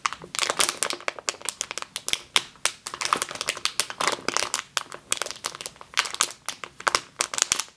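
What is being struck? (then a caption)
Plastic bag filled with flour. Both hands with long green nails squeeze and scratch a medium clear plastic bag with a yellow label, full of flour or grain, resting on a table. A steady stream of sharp, bright crinkles and rustles comes in quick bursts with almost no low end, each crackle stopping dead with no ring.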